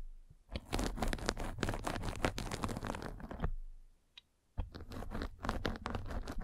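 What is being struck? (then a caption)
Metal-spiked roller on a fabric mesh net. A metal-spiked derma roller is rolled across the top of a white fabric mesh net stretched over a round microphone head, making a dense, close scratchy crunching with low rumble. The rolling runs for about three seconds, pauses briefly with a faint tick, then resumes with the same rough, crackling texture.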